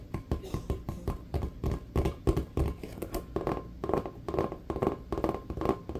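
A full-size, inflated, hollow rubber basketball is held on the lap and tapped quickly with the fingertips and nails. The result is a rapid, irregular stream of short, dull, hollow thuds with a deep low boom around 66 Hz. Each tap dies away almost instantly, with very little bright content.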